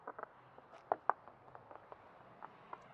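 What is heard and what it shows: Knuckle-style knocks on a concrete block wall of a house produce a series of short, dull, dry taps with no ring, two of them louder near the middle. The wall sounds solid, confirming it is block masonry rather than wood.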